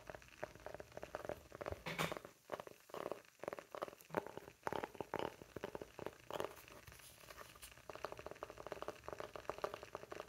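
Fingertips and short nails tap and scratch the face of a round, flat, solid, palm-sized light-wood coaster held in both hands. Quiet, dense bursts of quick, dry taps with a hollow mid-range tone alternate with softer scratchy rustling. Each tap dies away almost instantly.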